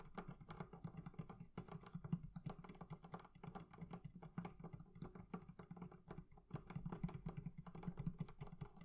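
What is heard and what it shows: Fingertips tap rapidly and continuously on the leather covering of a barrel chest. The result is a dense run of soft, dull, low thuds that die away almost instantly, with faint clicky edges and no ringing.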